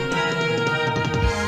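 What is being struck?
Nothing is struck.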